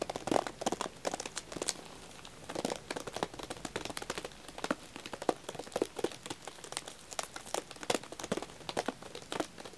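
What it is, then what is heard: Plastic-wrapped pack of wax tealights. Fingertips and nails tap and scratch the plastic film and paper label of a full, shrink-wrapped pack of cream vanilla wax tealights. The result is a steady run of quiet, sharp crinkly taps and scratchy rustles, each dying away almost instantly, with a bright, papery crackle over a mid-range tap tone.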